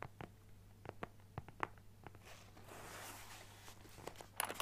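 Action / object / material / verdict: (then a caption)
tap / fabric-covered hard-shell carrying case / fabric / none. A closed, hollow teal-and-white leaf-print fabric-covered hard shell Nintendo Switch carrying case is held up and tapped and scratched on its fabric surface with fingertips and nails. Quiet, sharp taps ring out one after another, with a soft, bright scratching texture in the middle and a quick flurry of louder taps at the end.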